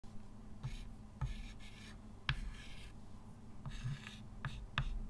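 A hand writes with a white chalk stick on a flat, solid, dark-grey chalkboard with a slate-like surface in a wooden frame, lying on a table. Bursts of bright, scratchy rubbing strokes are punctuated by sharp, brief taps as the chalk meets the board, over a low, steady background.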